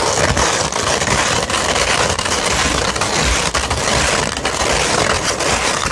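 A flat sheet of sandpaper is held up while long red nails scratch across its grit. The result is a steady, dense, gritty rasp that stays loud and broadband, with bright, hissy highs and brief dips between strokes.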